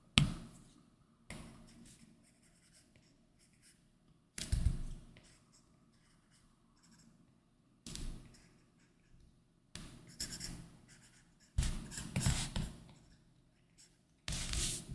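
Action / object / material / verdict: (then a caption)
scrape / Plastic stylus on glass tablet screen with matte film / glass / none. A plastic-tipped Apple Pencil makes short drawing strokes across the large glass touchscreen of an iPad Pro 12.9 covered by a Paperlike matte film, lying on a desk. Each stroke is a brief, dry scratching rasp with a low tap at the start and a bright papery hiss, separated by short quiet pauses.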